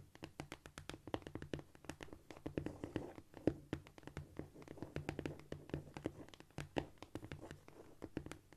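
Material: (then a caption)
Cork. Long almond-shaped nails on both hands, held in a clawed position, scratch and tap rapidly across a flat, solid cork floor. The result is a quick, continuous patter of short, dry clicks with brief scratchy brushes in between, over a faint low hum. The sound is soft overall, with the clicks dying away almost at once.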